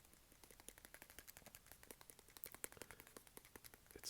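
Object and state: Textured plastic handheld console shell.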